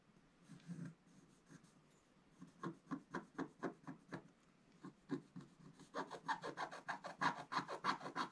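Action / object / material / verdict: scrape / coated scratch-art paper card scratched with a wooden stylus / coated paper / none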